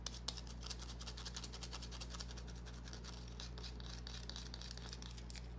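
A small, solid green bar of soap held in the palm is scratched with long nails, making quiet, rapid, bright scratching ticks. A steady low hum runs underneath throughout.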